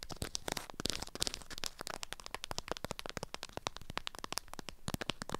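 Long acrylic nails scratch and tap a small package wrapped in an orange-print beeswax fabric food wrap. The crinkly waxed fabric gives a quick, dense stream of dry crackling clicks and rustles with bright highs, and each one stops almost instantly.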